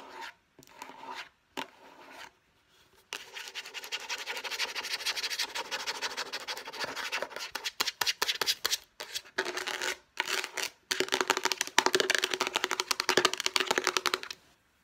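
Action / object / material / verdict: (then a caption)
scrape / hand-sized plastic box with lid / plastic / none. Long nails rapidly tap and scratch the lid and sides of a hollow, hand-sized, light blue rectangular plastic storage box with a lid. The result is a dense, bright, dry clatter of quick clicks and raspy scrapes with almost no low end, broken by a few brief pauses. It starts with sparse, quieter taps and grows into steady fast tapping.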